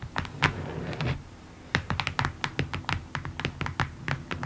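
Long nails tap rapidly on the surface of a long, rectangular, printed cardboard kit box, which is hollow. The quick, dry taps pair a hollow low thump with a bright click and die away almost at once. A brief lull comes early on, then the tapping returns in a steady, fast patter.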